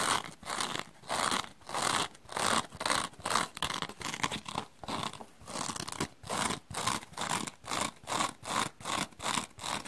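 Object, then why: Foam scouring sponge. A small, dry rectangular kitchen sponge, with a coarse black open-cell foam scouring layer on a yellow foam base, is held in one hand while long dark-painted nails and fingertips scratch its black foam surface; other sponges lie nearby untouched. Quick, rhythmic bursts of bright, crackly scratching repeat steadily with short pauses between strokes, giving a dry, rasping texture with little low end.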